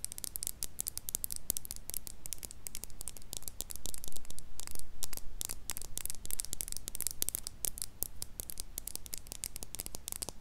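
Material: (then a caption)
Plastic. Long nails tap and scratch along a closed plastic lip gloss tube, filled with pink liquid and topped with a white cap, held horizontally in front of a mini mic. The result is a rapid, irregular stream of sharp, crisp clicks and scratchy ticks over a steady low hum, with a slightly louder stretch in the middle.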